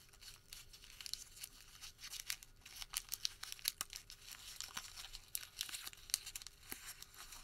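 A printed white thermal paper receipt is crumpled and then partly opened in the fingertips of both hands. It gives off quiet, dense, bright crinkling and crackling with many short, sharp snaps, almost no low end, and a steady soft hiss beneath.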